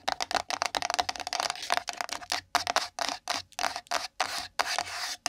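Long nails scratch and rub a small, empty, pink printed cardboard gift box resting on the microphone. A fast run of bright, dry scratches with a hollow tone around 700 Hz gives way to longer rubbing strokes separated by short silences.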